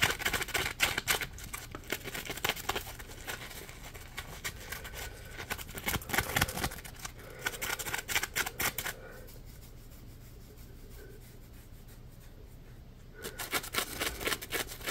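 Fingertips rub and scratch a solid, palm-sized yellow polymer foam Scrub Daddy sponge, producing dense, bright, crackly scratching bursts in quick, irregular succession. The scratching drops away for about four seconds to a quiet, steady low hum, then resumes briskly at the end.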